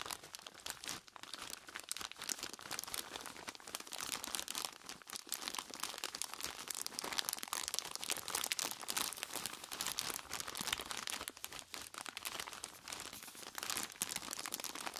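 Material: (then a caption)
Plastic, ice. A large clear plastic bag full of crushed ice is squeezed and scratched on its front and sides by purple nitrile-gloved fingertips. Dense, bright crinkling and crunching of plastic and ice runs continuously through the clip, with almost no low end and no ringing.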